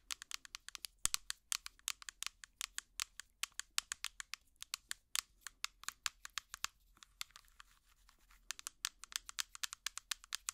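A hollow, small translucent plastic jar with an orange lid, held close to the mic, is tapped and scratched with finger picks. The result is a rapid run of crisp, bright, high-pitched clicks with very short decay and faint scratchy texture between them. The run pauses briefly near the end before resuming.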